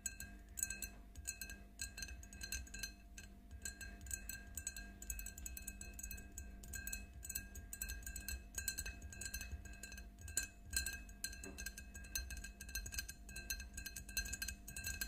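Long nails tap and clink rapidly on the sides of an empty, clear faceted drinking glass standing on a table. The quick, light clinks ring out with short, bright tones over a steady low hum throughout.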